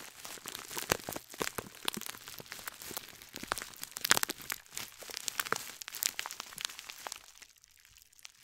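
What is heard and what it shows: A gold scouring sponge in a clear plastic bag is held beside the mic while long nails scratch and crumple the plastic. The result is a dense run of sharp, bright crinkles and crackles with almost no low end, and it thins out to quieter rustling near the end.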